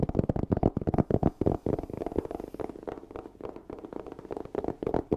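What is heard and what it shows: A black hard-shell EVA zipper case, hollow and closed, is scratched and tapped with fingernails close up. The result is a rapid stream of short, dry taps and scratchy rustles with a hollow low-mid body and little brightness.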